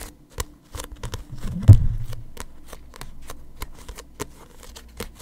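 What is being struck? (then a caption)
Paperback book with paper pages and glossy cover. A small paperback manga with a glossy paper cover is held in both hands close to the mic while fingertips grip it and flip or riffle through its paper pages. A series of short, dry paper ticks and clicks is heard, with a louder, fuller rustling flutter near the middle over a low, soft rumble. Each sound stops almost at once with no ring.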